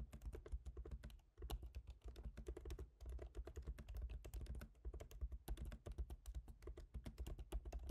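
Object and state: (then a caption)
Laptop keyboard being typed on. Both hands type rapidly with their fingertips on a MacBook Pro keyboard, with black plastic keycaps set in a silver aluminum body. A dense, steady stream of short, crisp key taps rides on a soft low thump, each click dying away almost instantly. Brief pauses break the flow now and then.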